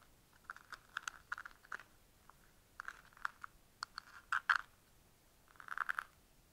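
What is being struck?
Small hard plastic box.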